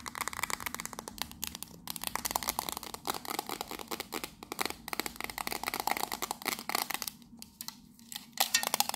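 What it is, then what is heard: Metal tea tin. Long nails rapidly tap and scratch the sides of a hollow, hand-sized octagonal printed metal tea tin with its lid on as it is turned in the hands. The result is a dense run of bright, tinny clicks and scratchy rasps, each dying out almost at once, with a brief quieter stretch near the end before a last flurry of sharper taps.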